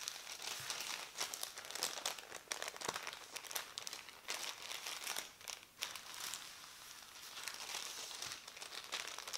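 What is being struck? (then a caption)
Thin printed paper leaflet. A thin printed paper instruction leaflet is folded into a smaller stack and pressed with the fingertips, making dense, bright crinkling. The sound is made of many short crackles with almost no low end, easing briefly after the middle before picking up again near the end.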